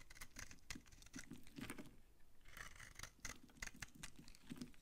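A utility knife blade scrapes crunchy curls off an old, solid, dry brown Farmamed bar soap held in the hand. Quick, dry, crackling scrapes come in bursts with bright, gritty texture and a soft low rustle underneath, pausing briefly midway before resuming.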